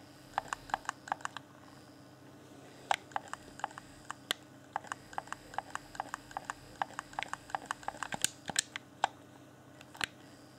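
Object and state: Clear plastic game controller.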